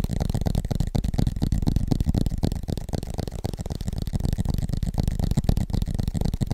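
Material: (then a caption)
Aluminium. Fingertips tap rapidly on the aluminum back of an iPad, a flat, thin tablet with an Apple logo, held upright in both hands. The result is a fast, continuous patter of dull, low thuds with almost no bright content and very little ring after each tap.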